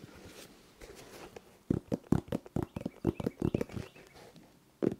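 A colorful sneaker with a synthetic mesh upper and a foam and rubber sole is held hollow in both hands while fingernails scratch across the upper and the sole. Soft, faint rustling gives way to a quick run of short, dull, low-toned scratches and taps, then a pause and one last sharp scratch.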